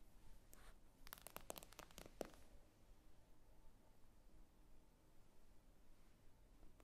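Long acrylic nails tap slowly on the glossy glass screen of a tablet lying flat on a table. About eleven short, crisp clicks fall in the first two and a half seconds, each dying out almost instantly. A faint, low background hum fills the rest of the clip.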